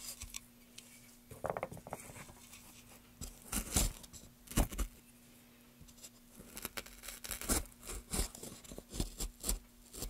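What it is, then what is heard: Softwood board being carved. A gouge scrapes and carves grooves into a solid pale softwood board held steady by a gloved hand. Short, irregular scraping and cutting strokes come in bursts, with bright crackly chips over a faint steady low hum. The strokes grow denser toward the end.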